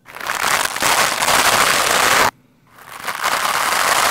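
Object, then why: Foam microphone windscreen scrubbed with a plastic brush. A lime-green plastic scrub brush scratches and brushes fast and hard against a black foam microphone windscreen, making a dense, bright, crackling scrape. The rough noise stops abruptly for a brief moment of near silence, then swells back up and keeps going.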